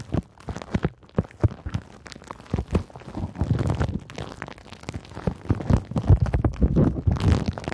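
A handful of clear pink plastic bubble wrap is crinkled and scratched by long nails. The result is a dense run of soft, low crackles and scratchy rustles that come in irregular bursts throughout, with a brighter hiss near the end.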